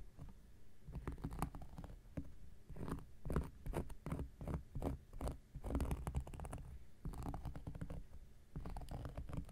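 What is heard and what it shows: The tip of an X-Acto knife blade scratches across a round, flat, solid cork coaster. The result is quiet, dull scratching in uneven bursts, heavy in low, muffled rasps with little bright edge. Short scrapes and pauses follow one another throughout.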